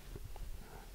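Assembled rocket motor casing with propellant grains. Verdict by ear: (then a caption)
Tight. An assembled loadable rocket motor casing holding propellant grains is shaken to check for loose parts. Only faint, low-pitched handling thumps are heard, with no rattle. The components are seated properly.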